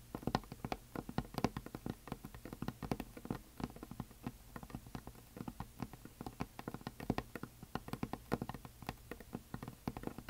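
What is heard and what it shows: Long nails tap and scratch along the top edge of a flat, solid, heart-shaped painted wooden sign with glitter. The result is a steady, rapid stream of short, dry, dull taps with a little scratching between them; each tap dies away almost at once, and the sound stays soft and low throughout.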